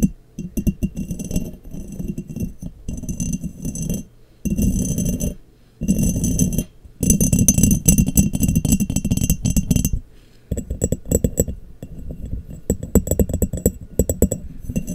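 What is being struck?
Ridged glass jar.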